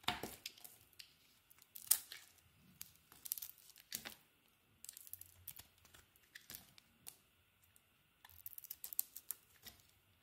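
A hand-held solid white soap bar with a purple coating is shaved and carved with a metal utility blade. Quiet, irregular bursts of bright, crisp scraping and crackling are heard as each stroke cuts through the soap, separated by short pauses.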